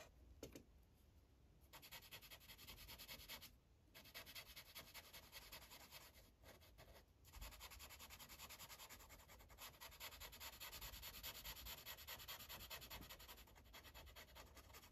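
A yellow Sharpie marker's felt tip rubs across a thin paper coloring page resting on a clipboard in steady, back-and-forth strokes. The result is a soft, bright, scratchy rubbing hiss with brief pauses between passes.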